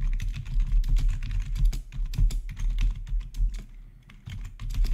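Close-up rapid typing on a full-size black plastic backlit RGB gaming keyboard with a hollow housing, keys pressed quickly by the fingertips of both hands. A dense stream of short, clicky taps with a deep low-end thump overlaps with bright clacks. There is a brief quieter lull near the end before the typing picks back up.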